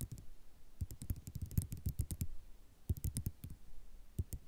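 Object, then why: Ceramic mosaic tile sheet. Long nail tips tap on a flat sheet of white ceramic mosaic tiles in quick clicking bursts. Each tap is a short, dry click with a low, soft body and a faint bright tick on top, and it dies away almost at once. The bursts come in uneven clusters separated by brief pauses.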